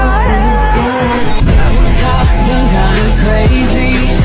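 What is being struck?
Nothing is struck.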